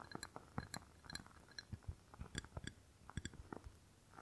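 Long nails tap and scratch the outside of a rectangular clear glass candle jar filled with solid red wax. The result is a quiet, quick series of short, dull clicks with bright glassy ticks, with a soft scratchy rustle between them. None of the taps ring on.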